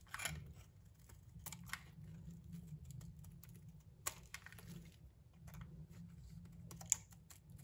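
A metal utility knife blade shaves and scrapes a solid, palm-sized pink soap bar held in hand, knocking small chips off. Short, bright scraping clicks and crisp strokes come through over a steady low hum, each cut dying away almost instantly.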